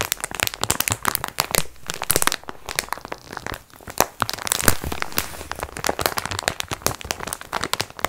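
A plastic-wrapped multipack of sponge cloths is held upright in both hands while long nails scratch and squeeze the plastic film. Dense, bright crinkling and crackling continues in bursts of sharp scratches with short quieter gaps.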